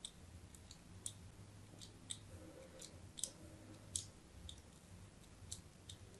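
A metal blade scores diagonal lines across the face of a solid white embossed soap bar held in the hand. Quiet, sharp, bright clicks and scrapes sound at irregular intervals over a steady low hum.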